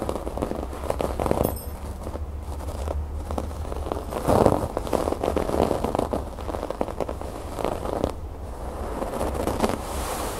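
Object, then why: Fabric cushion with raised rope embroidery. Fingertips and long nails scratch and tap the raised brown rope embroidery on a large, soft cream fabric cushion or pouf. The sound is a dense, continuous crackling rustle of quick scratches and taps, centered in the low mids with little high-frequency content. It gets louder and busier for a moment around the middle.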